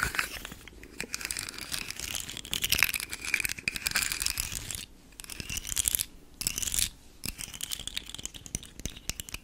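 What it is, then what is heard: Plastic articulated fidget slug toy. A rainbow segmented hard plastic articulated fidget slug toy is held close to the mic while long nails scratch along its segments, making them rattle and click. The sound is a bright, dense, scratchy crackle of rapid clicks with brief quiet gaps around the fifth and sixth seconds before the scratching resumes.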